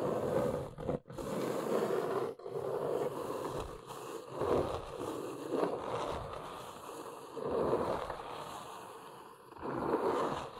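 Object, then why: Corrugated cardboard box. Long nails scratch and tap along the front edge and corners of a large, hollow, brown corrugated cardboard box. The result is a steady, dry, papery scraping centered in the midrange, with soft taps mixed in. It swells and fades in strokes, broken by brief near-silent gaps.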